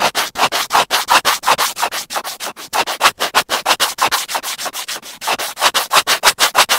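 A thin white plastic earphone cable is held between the fingers of one hand near its small inline microphone and connector, while the other hand scratches and rubs it directly with a pointed black tool, tweezers or a scissor tip. About 40 quick, dry scraping strokes follow one another at roughly three per second in an uneven rhythm. The sound is bright and hissy, centered around 1.2 kHz, with no low end and each stroke cutting off sharply.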